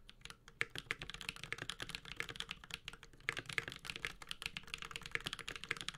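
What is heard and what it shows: A Space65 Cybervoyager 65% mechanical keyboard with a metal case, Holy Panda switches and ABS plastic keycaps is typed on continuously with the fingertips of both hands. The result is a rapid, uneven stream of short, crisp clacks that are mostly bright and high, with little low end and almost no ring after each keystroke.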